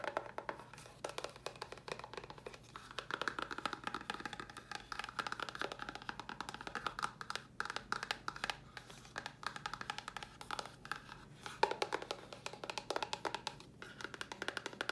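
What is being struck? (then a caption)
Small cardboard box. Long nails tap rapidly on a small, hollow white cardboard box with a red top, held upright. Quick, light clicks with a hollow, woody resonance around 870 Hz run continuously, each dying away almost instantly over a faint steady low hum.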